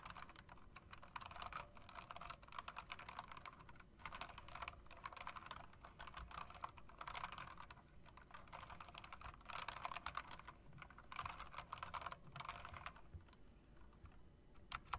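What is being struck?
Plastic and metal mechanical keyboard.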